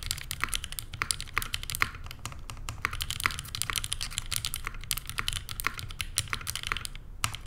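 A Neo87 tenkeyless mechanical keyboard by CherryB Works, with a rose-gold aluminum case, JWK Lilac switches and cream and grey plastic keycaps, rests on a desk mat while both hands type continuously, long painted fingernails pressing the keys. A steady stream of short, crisp, bright clacks sits over a soft low thump, each keystroke dying away almost instantly with no ring.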